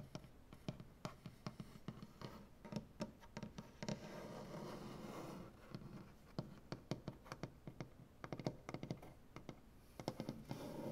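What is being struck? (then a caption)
Maple butcher-block tabletop. Fingernails of one hand scratch across a large solid maple butcher-block tabletop. Sharp dry clicks and short scrapes come in irregular bursts, with a longer continuous rasping scratch in the middle. A steady low hum sits underneath.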